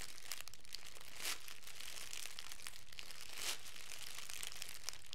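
Thin, clear plastic cellophane wrap, crumpled into a loose hand-sized bundle, is squeezed and crinkled by the fingertips of both hands. It makes a steady, bright crackling with dense tiny snaps and two louder, fuller crinkle swells, over a faint low background rumble.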